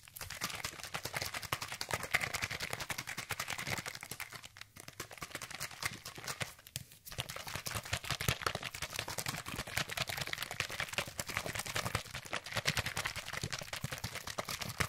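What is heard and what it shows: A hand-sized, hollow orange plastic sunscreen spray bottle containing liquid is held in one hand and shaken fast beside the microphone. It makes a dense, rapid stream of bright, crisp sloshing and rattling hits with a light low thump underneath. The shaking runs continuously, easing briefly around 4.5 and 7 seconds.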